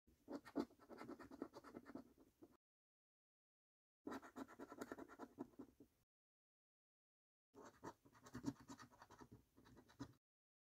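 A coin scratches the latex coating off a thin, flat paper £15 National Lottery Snack Stack scratch card. Three quiet bursts of rapid, gritty scraping are separated by silent pauses, each a dense run of short rasping strokes.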